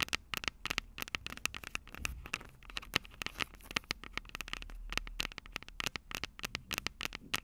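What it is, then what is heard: Nails tapping and scratching recorder mic heads. Long purple nails tap and scratch the two silver metal mic capsules on the plastic body of a Tascam DR-05 handheld recorder. The result is a rapid, uneven stream of dozens of sharp, bright clicks and crackles, with a hard tone near 2.8 kHz. Softer scratchy rustling and brief low rumbles fill the gaps between taps.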